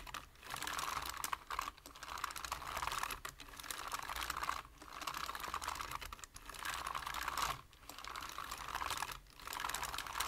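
A full-size black plastic computer keyboard is typed on quickly with the fingertips, producing rapid, dense bursts of dry, clicky key taps centred around 1 kHz with bright high edges. The clicks die away almost instantly, and the typing runs in steady stretches broken by brief pauses every second or so.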